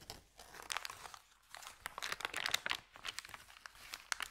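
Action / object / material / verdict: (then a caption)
scrape / thin paper bag / paper / none. A thin, empty, crumpled white Subway paper bag is unrolled and flattened by hands, crinkling throughout. Bursts of dry, bright crackles and rustles come in quick clusters, with almost no low end and no ringing after each crackle.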